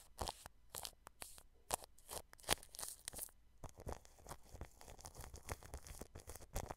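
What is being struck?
Plastic cling film over a microphone.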